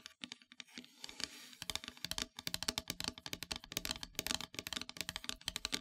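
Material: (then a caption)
Painted wood. Long metallic nails tap quickly on a flat, solid, dark painted wooden heart-shaped plaque, making rapid, bright, dry clicks with almost no ring. A brief softer rasping stretch near the start breaks up the steady run of dozens of crisp taps.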